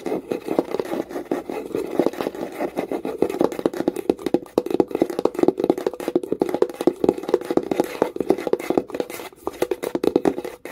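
Long nail tips tap and scratch rapidly along the side and top edge of a small wooden box with visible wood grain. The result is a dense, continuous run of dry, short clicks and scrapes centered in the mids around 350 Hz, with almost no low end or resonance.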